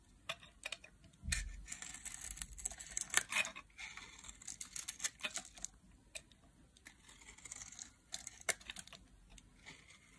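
A solid blue-teal block of dry bar soap is held in the hand and carved with a metal blade into curled flakes. Crisp, bright scraping and cutting strokes come in short, dry bursts with quiet pauses between them, and a faint low thump is heard early on.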